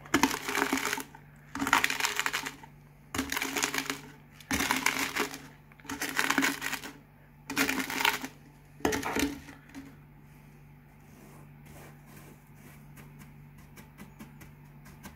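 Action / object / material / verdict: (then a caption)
scrape / potato chip fragments / potato chips / none. Small crisp potato chip fragments are crushed under a rolling cardboard can in seven loud, bright, crackling bursts of about a second each. The chips are then raked with the fingertips, giving faint scattered ticks over a steady low hum.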